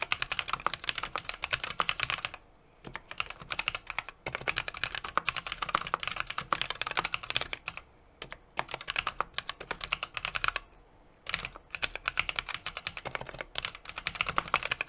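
A small 60% mechanical keyboard with an aluminum case, brass plate and plastic keycaps is typed on continuously with fingertips. Rapid, bright clacky keystrokes run in dense bursts, broken by a few brief pauses.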